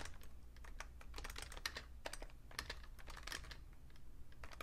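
Fingertips type quick, irregular taps on a vintage beige plastic full-size Fujitsu Siemens keyboard with a hollow case, including keys on the numpad. Each press gives a short, clicky, bright tap that dies away almost at once, over a steady low hum.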